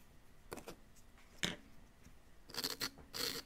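A small wooden chisel held in the fingertips scrapes a solid, hand-sized, yellow-green plaster "gold bar" dig-kit block with loose plaster powder around it. The result is six short, dry, gritty scrapes, mostly bright and high, separated by quiet pauses.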